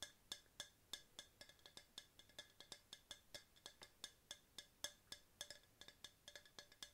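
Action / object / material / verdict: tap / hard plastic tumbler / plastic / none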